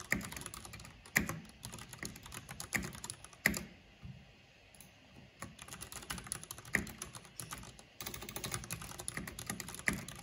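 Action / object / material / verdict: tap / plastic mechanical computer keyboard / plastic / none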